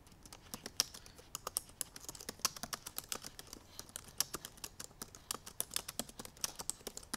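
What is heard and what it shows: Long purple nails type quickly on the black plastic keys of a silver aluminum MacBook Pro laptop keyboard. A rapid, uneven run of sharp, bright clicks and taps sounds, each dying out almost instantly, with very little low end.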